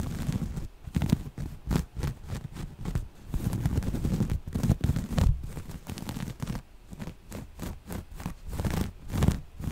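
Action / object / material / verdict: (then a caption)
scrape / folded cotton waffle-weave fabric / cotton / none. Long nails scratch across the textured surface of folded, soft, thick grey waffle-weave cotton fabric. The scratching comes in irregular, repeated strokes, each a brief, dull rasp that is mostly low and muffled with little brightness.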